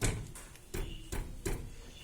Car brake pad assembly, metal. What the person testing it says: aí o barulho aumentou mais aqui